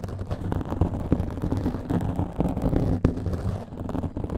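Long nails scratch rapidly over a black foam microphone windscreen, producing a dense, muffled, rumbling scrape with almost no bright content. The texture stays busy and low throughout, with a sharper crackling swipe standing out about two-thirds of the way through.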